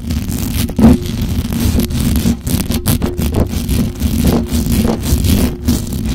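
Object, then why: Metal mesh microphone grille. Long acrylic nails scratch fast and aggressively across the hollow metal mesh grille of a black microphone. The result is a dense, continuous, boomy scraping rustle, heavy in the lows with a steady tone near 220 Hz and little brightness, swelling and dipping in loudness throughout.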